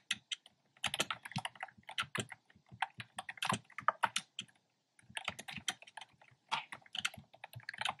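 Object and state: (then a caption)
Plastic keyboard, hollow keys. Fingertips with short nails type on a black plastic keyboard with round, retro-style plastic keycaps in cream, pink and red, its hollow keys tapping out quick bursts of sharp, bright clicks. The dry clacks die away almost instantly, with brief pauses near the start and just before the five-second mark.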